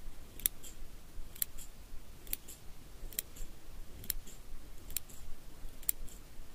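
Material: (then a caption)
Steel. Small steel eyebrow scissors with curved blades, held in the fingers, are opened and snipped shut repeatedly. Seven crisp, bright metallic snips sound at an even, unhurried pace, each dying away almost instantly over a soft low rumble.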